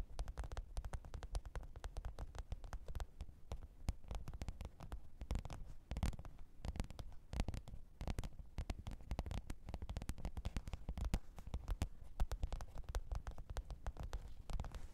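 Long pointed nails tap and scratch the top of a black, textured faux-leather hard-shell microphone case with a zipper, lying flat on fur. The result is a quiet, continuous stream of rapid, dry, muffled taps and brief scratchy clicks. Each hit is heavy in the low end and dies away almost instantly.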